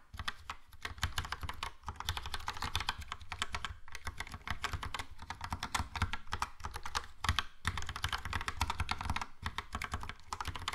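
Fingertips type steadily on a Logitech POP Keys plastic mechanical keyboard with a yellow plastic case and round plastic keycaps. The keys give a dense run of quick, bright clicks over a low thumpy base, with a few brief pauses between bursts.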